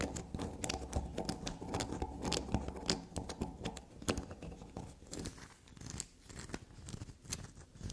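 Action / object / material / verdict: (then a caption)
scrape / black soap bar / soap / none. Long black natural nails scratch and dig into a small, solid block of black soap, heavily scraped and crumbly, held in the hand above a table dusted with soap shavings. Fast, dry scratching and crumbly crunches come in quick, uneven bursts with sharp, bright clicks over a soft low rumble. The sounds get sparser and quieter toward the end.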